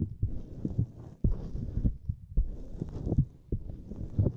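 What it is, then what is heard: Silicone grid mat. Fingertips press, tap and flex a small flexible purple silicone lattice mat. A close, muffled run of soft, dull thumps and rubbery squishes sits almost entirely in the low end, with a faint bright hiss. The taps come in an irregular rhythm, with brief quiet dips between bursts.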